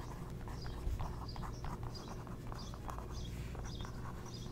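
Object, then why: Glossy coated paper page and wooden skewer. A thin wooden skewer held in the fingertips traces and scratches lightly across a thin, coated page with a printed ad in an open glossy magazine lying flat. Soft, papery scratching strokes repeat with brief bright hisses over a steady low hum.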